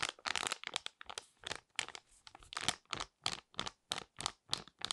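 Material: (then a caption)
Foil laminate. A small, flat, sealed and full foil-laminate sheet mask sachet is held in both hands and crinkled and scratched with long red nails. Bright, crackly crinkling comes in quick, uneven bursts separated by brief silences, with almost no low end.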